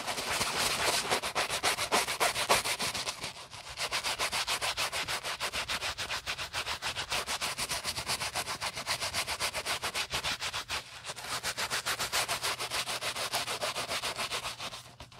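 A wooden-handled bristle brush scrubs the soapy beige nylon body of an empty Prada handbag held in a gloved hand. It makes rapid, steady, bright scratchy strokes, roughly three or four per second, with two brief lulls before the scrubbing resumes and fades out at the end.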